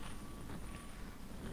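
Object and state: Nothing is struck.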